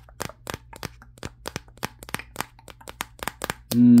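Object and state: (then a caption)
Smartphone with matte glass back. Fingertips tap the matte glass back of a Samsung Galaxy S23 held in one hand, the same phone doing the recording, producing about sixteen quick, dry, clicking taps. Near the end, a loud, steady, buzzing tone with a low pitch and layered harmonics abruptly cuts in and holds to the close.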